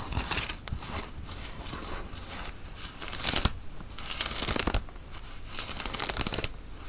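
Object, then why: Worn cotton t-shirt. Fingernails scratch the sleeve and front fabric of a worn grey tie-dye cotton t-shirt. Bright, hissy rasping comes in repeated bursts separated by short, quieter pauses, with a few sharp clicks along the way.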